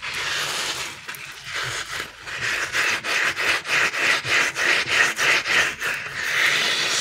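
Fingers and thumbs rub and press a solid, palm-sized green rubbery TPR dinosaur squishy toy. The result is a fast, rhythmic run of bright, squeaky rubbing strokes that starts as a steady hiss and settles into an even pulse of about three strokes per second.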